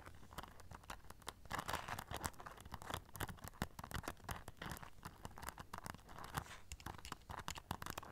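A small black rhinestone-studded clutch pouch covered in silver studs is turned near the mic while long nails scratch and tap across the studs. The result is a dense, uneven stream of sharp clicks and crinkly, crunchy scratches with brief bright bursts over a soft low rumble.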